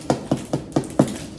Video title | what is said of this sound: I Don't Buy Sourdough Bread Anymore! 2 Ingredient Sourdough Bread (No starter or yeast) | When you tap on the bottom, it sounds hollow. That's how you know You got it right.